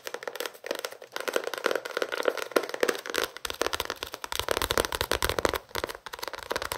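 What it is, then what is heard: Paperback book tapped and scratched. A small paperback novel, The Notebook, with paper pages and a card cover, is held in the hands and tapped and scratched with fingertips and nails. Rapid, dry, crackly taps and scratches come in quick bursts, centred in the mids with a light, bright edge. From about halfway through, the taps gain a bit more low thump.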